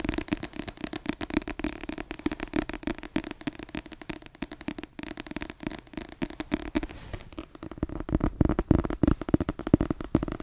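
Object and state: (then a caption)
Paperback book. Long yellow nails rapidly scratch and tap the back of a solid, dark-covered paperback book with a glossy paper cover, held close. The result is a dense, crackling stream of short, dry clicks and scrapes with a low-mid body, growing louder and more forceful toward the end.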